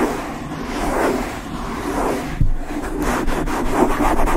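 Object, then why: Foam microphone windscreen. A black foam windscreen over the head of a Blue Yeti microphone is rubbed and scratched quickly by long light-blue nails and fingertips of both hands. A dense, low, muffled rustling and scraping fills the clip, with a sharper bump near the middle and quick scratchy strokes toward the end.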